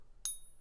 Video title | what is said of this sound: Silver Safety! How NOT to be Fooled by Fake Silver | sometimes it's a little better than that but it's not going to have that beautiful sound